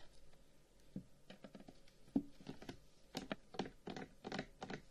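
A long, hollow carved wooden incense box is tapped rapidly with the fingertips, first while held in the hands and then while lying on a table. The result is a run of quick, soft, hollow knocks with a low-mid body around 270 Hz, barely any ring, and a faint brighter click on each tap. The taps cluster more densely and grow a little louder in the second half.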